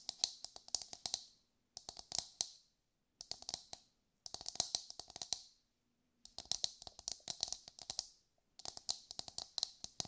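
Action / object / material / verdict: tap / whole husked coconut / coconut shell / none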